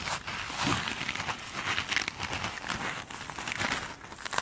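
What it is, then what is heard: Glitter-coated foam sponge. A single soft, solid foam sponge with a glitter-beaded top is scratched and tapped by long pointed nails. A steady, bright crinkling and crackling scratch runs throughout, with short taps that die away almost instantly.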